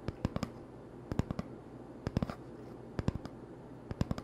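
Fingertips tap on the surface of an empty, hollow cardboard toilet paper tube held in one hand. The taps come in five quick bursts of about four each. Each tap is a short, dull, low hollow thud that dies away almost instantly over a quiet, steady background.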